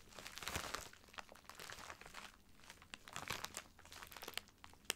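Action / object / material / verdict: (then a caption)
scrape / filled plastic poly mailer bag / plastic / none. A filled white plastic poly mailer bag lies flat while both hands rub and scratch it with fingertips and nails. The plastic gives off quiet, dense, bright crinkling with many sharp little crackles that swell and fade in bursts.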